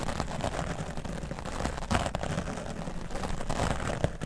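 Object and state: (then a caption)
Foam microphone windscreen brushed. The bristles of a wooden dry brush sweep across the top of a grey foam microphone windscreen. They make a steady, muffled, low rumbling scratch with a few heavier thuds near the middle and the end.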